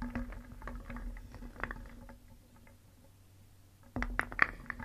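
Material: Wood.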